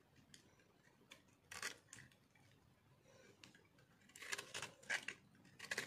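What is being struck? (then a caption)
Bar of soap scraped with a metal blade. A metal blade cuts and scrapes brittle shavings from a solid, dry white soap bar held in the hand. Quiet, crisp crunches and scraping strokes come in short, bright bursts with little low end, separated by soft pauses.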